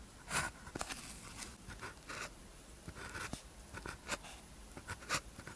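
A blue ballpoint pen tip scratches across a thin white paper practice sheet with a red grid, lying flat, while writing characters. Short, dry, bright scratching strokes come in quick bursts over a quiet, faint background hiss.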